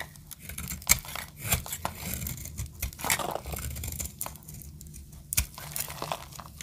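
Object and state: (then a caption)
Dry soap bar. A snap-off metal blade scrapes and cuts a solid blue bar of dry soap, shaving off crumbly pieces. Dry, crunchy scraping and crisp, bright cracks come in quick, irregular bursts over a faint low rumble.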